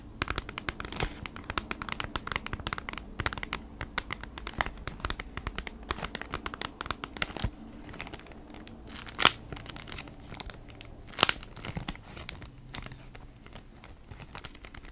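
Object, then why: Cardboard package in a plastic sleeve. Long nails tap and scratch across the front of a flat cardboard package of beeswax wrap in a crinkly plastic sleeve. A dense run of quick, bright clicks and crinkles plays over a soft low hum, with two sharper taps standing out near the middle and later in the clip.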